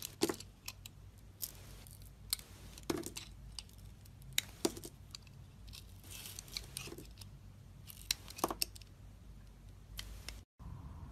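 A snap-off metal utility blade scrapes and slices pieces off a solid peach-colored soap bar with a dark blue glittery outer coat, held in a hand with red nails. Crisp, bright cutting snaps and short scraping strokes come at irregular intervals over a faint low hum. The sound cuts out briefly near the end.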